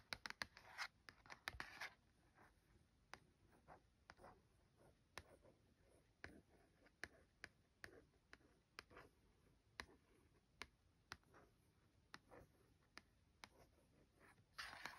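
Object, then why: Printed cardboard sleeve. Long gold-tipped nails and fingertips trace and scratch the printed surface of a flat Yorkshire Dales Lap Map tea towel in its printed cardboard sleeve, lying on a duvet. Quiet, dry scratching runs throughout, marked by many sharp, bright nail taps. Denser rasping bursts sit near the start and the end.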